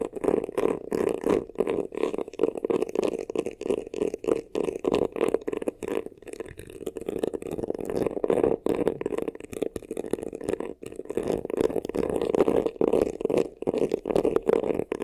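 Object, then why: Embossed faux leather vanity case. Fingernails scratch fast over the textured front of a hollow, black crocodile-embossed faux leather vanity case. The result is a dense, continuous run of quick, rasping strokes with a hollow midrange tone and short, dry stops, with no lingering ring.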